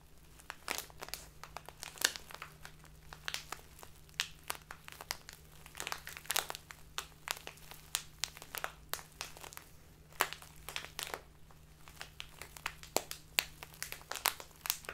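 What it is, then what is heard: Crinkly plastic tea bag. A crinkly clear plastic Biotta tea bag full of loose dried tea is held tilted in one hand and crinkled and rubbed with the fingers and nails. Dense, sharp, bright crackles and rustles come in quick irregular bursts throughout, over a faint steady low hum.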